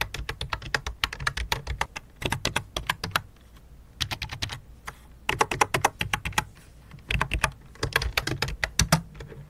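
Fingertips type on the main keys and the numpad of a full-size white and light-blue plastic computer keyboard with a hollow plastic body. Quick, dry, clicky taps come in rapid bursts separated by brief pauses, each keystroke short and bright with almost no ring, over a faint steady low hum.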